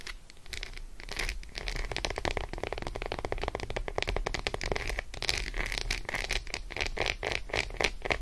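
Long acrylic nails tap and scratch quickly across the squares of an unwrapped Roshen milk chocolate bar, a flat solid segmented slab lying on faux fur, with curled fingers. A dense stream of short, sharp clicks mixes with bright scratching over a low, steady rumble.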